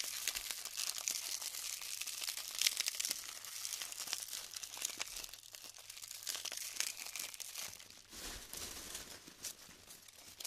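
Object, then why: Clusters of polystyrene foam beads stuck together with dried glue. Fingertips with pink nails squeeze and crumble apart clusters of small colored polystyrene foam balls stuck together with dried glue, from a large tray of the light, hollow-cellular beads. The result is a dense, continuous run of bright, high crackling, crinkling and snapping with almost no low end, each tiny pop dying away almost instantly.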